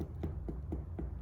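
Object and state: Baked-through sourdough loaf (hollow).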